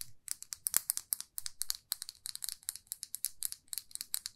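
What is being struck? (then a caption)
Lacquered lipstick tube. Long fingernails tap and scratch a small, glossy red lacquered lipstick tube held in both hands. The result is a quiet, rapid run of short, bright clicks and scratchy ticks, almost all high-pitched with very little low end and no ring after each hit.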